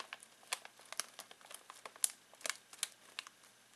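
Fingertips scratch and crinkle a full foil-plastic snack bag of pistachios, producing a quick series of about sixteen short, sharp crackles. The sound is quiet, bright and hissy, with each crinkle dying away almost instantly and no low end.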